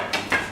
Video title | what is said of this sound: Baguette production | just tip it over and give it a tap and listen to that lovely Hollow sound so that bread is just about perfect